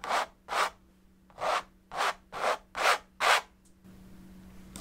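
A metal palette knife scrapes and rubs thick oil paint along the surface of a large painted stretched canvas in seven short, separate strokes. Each stroke is a bright, breathy scraping rasp. The strokes are followed by a low, steady hiss.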